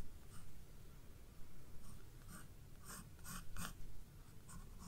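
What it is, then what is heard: Pencil drawing on a paper sketchbook page. A graphite pencil, held by a hand with long red nails, scratches and draws strokes across the white page of a spiral-bound paper sketchbook lying flat on a wooden desk. Quiet, brief scratchy bursts of pencil on paper come and go over a steady low rumble.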